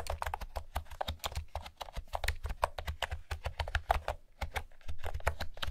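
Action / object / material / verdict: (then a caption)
tap / plastic keyboard with round keycaps / plastic / none. Fingertips with long nails type steadily on a blue plastic keyboard with round pastel keycaps. The result is a rapid, uneven stream of short, dry clicks and clacks, each with a low thump under a bright tap that dies away almost at once.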